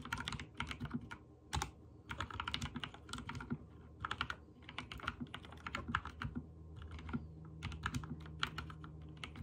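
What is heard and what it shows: Fingertips type rapid key presses on a backlit mechanical keyboard with white and teal plastic keycaps. Quick runs of crisp, bright plastic clacks come in short bursts separated by brief pauses, over a steady low hum.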